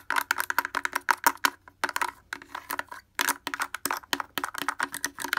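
Fingers wearing wooden clothespins rapidly tap the front of a blue plastic portable speaker with a hollow housing and grille. About 25 quick, dry, clacking taps with a hollow midrange tone sound in uneven bursts, separated by brief pauses.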